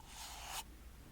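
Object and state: Nothing is struck.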